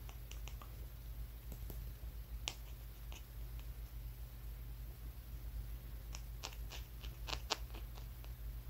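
A small, solid dark brown rock with rough edges is held in one hand and tapped with the fingertips and nails of the other. Short, sharp, dry clicks with bright tops stand out over a steady low hum: a few scattered taps early on, then a quicker cluster toward the end. Each tap dies away almost instantly.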